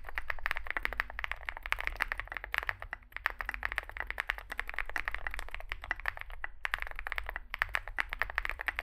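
A small Zoom65 65% mechanical keyboard with a dark case and white and grey plastic keycaps is typed on continuously with fingertips. The result is a fast, steady stream of short, dry clacks with a bright click centered near 1.8 kHz, barely any ring, over a constant low hum. The typing pauses briefly around the three- and six-and-a-half-second marks.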